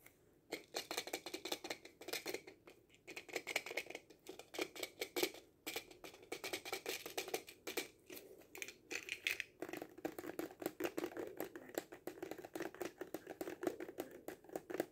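Fingertips and nails tap rapidly along the length of a hollow cardboard kaleidoscope tube. Dense bursts of short, dry, papery taps with a hollow midrange body and a bright edge stop dead with almost no ring. A few brief pauses break up the flurry.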